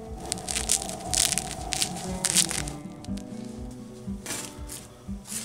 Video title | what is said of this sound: Hot Dog Buns, Crispy Baguette style. The Ultimate Dog. | just listen to how crispy they are